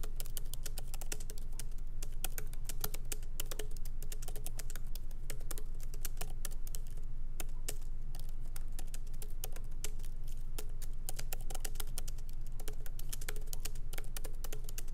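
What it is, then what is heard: Laptop keyboard with plastic keys. Both hands type rapidly with the fingertips on a MacBook Pro keyboard, whose low-profile plastic keys sit in a solid aluminum body. Quick, dry, irregular clicks and taps run throughout over a steady low hum.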